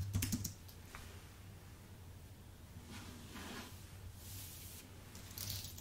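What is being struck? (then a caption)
Aluminium and plastic computer keyboard. Fingertips type on a white Apple full-size keyboard with an aluminium base and plastic keys, giving a quick cluster of crisp, bright key clicks at the start. Soft, breathy rustles follow over a steady low hum as the hands move off the keyboard, with a last brighter brush near the end.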